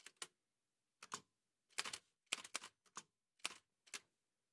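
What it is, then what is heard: Manual typewriter keystrokes. Fingertips in white satin gloves type on a large, heavy vintage Remington manual typewriter with a dark painted metal body and paper loaded. About a dozen sharp, bright key and typebar strikes come in short clusters separated by pauses. Each strike is crisp and dies away almost at once, with little low end.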